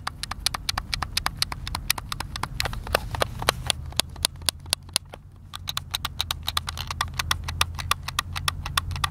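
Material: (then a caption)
Plastic. A white, hand-sized, hollow plastic Xbox controller held at the table edge has its buttons rapidly tapped and clicked by thumbs. A fast, steady stream of sharp, dry, bright clicks with almost no ring rises over a low rumbling background, pausing briefly at around five seconds before resuming.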